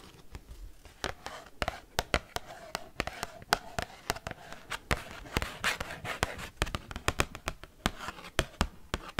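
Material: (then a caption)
Cardboard. An oversized, thin cardboard Pokemon card held upright is tapped and scratched quickly by metal paperclips worn on the fingertips. Dozens of sharp, dry clicks land in a fast, uneven rhythm over a soft, continuous scratchy rustle with a faint tone around 700 Hz.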